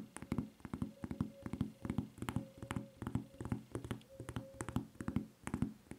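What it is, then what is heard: Rubber flip-flop tapped and scratched with nails. Long nails tap and scratch the footbed of a white rubber flip-flop with a red Levi's print and red strap, close up. Quick, dull taps with short scraping strokes come in an uneven, steady stream of many hits, each dying away almost at once.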